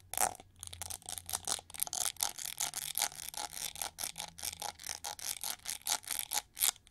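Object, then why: Metallized plastic hair brush back. Long nails scratch the ridged back and edge of a hand-held, hollow, gold-plated plastic winged hair brush with red bristles. A quick run of about 25 short, bright, dry scratching strokes rasps steadily with almost no low end, and each stroke cuts off with no ring.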